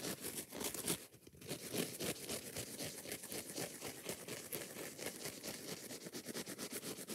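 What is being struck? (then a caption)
Foam kitchen sponge with scouring pad. Long nails tap and scratch fast and hard on a kitchen sponge, first on its yellow foam side and then on its green scouring pad. The result is a quick, steady run of dry, crackly taps and bright scratchy rasps with little low end.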